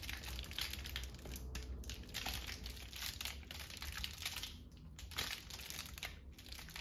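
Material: Paper.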